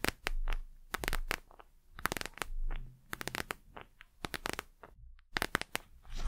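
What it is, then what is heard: Plastic gel eye mask. A patterned plastic gel eye mask is handled and turned in the hands while long nails tap and scratch its gel-filled surface. Quick, sharp clicky taps and crinkly scratches come in uneven bursts over a soft low rumble of handling, with brief quiet pauses between them.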